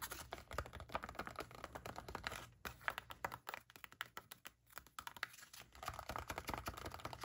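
A sealed, full, flat plastic-foil sachet of Freeman clay mask is held in the hands while long black-painted nails tap and scratch its surface. Dense, quick clicking taps mix with scratchy crinkling, with a couple of brief pauses between bursts.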